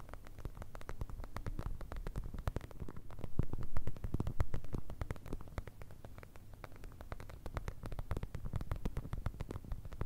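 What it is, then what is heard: Plastic gel bead eye mask. Long red nails tap on a clear plastic eye mask filled with blue gel beads, held close to the microphone. Dense, irregular clicky taps with a low, thumpy, muffled body swell louder in the middle, then settle to a steady patter.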